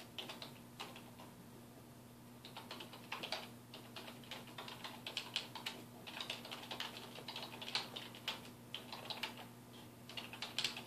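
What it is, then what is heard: Plastic computer keyboard. A black plastic computer keyboard with a hollow housing, resting on a wooden desk, is typed on with the fingertips of both hands in rapid key taps. Bright, short clicks come in uneven bursts with brief pauses between runs, over a faint, steady low hum.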